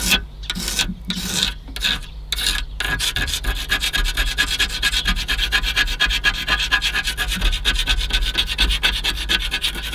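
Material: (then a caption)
Aluminium. Fingernails scratch and rub quickly along the flaking edge of a corroded rail on an aluminium car AC condenser. A few separate rasping strokes at the start give way to continuous, rapid, bright scratching over a steady low hum.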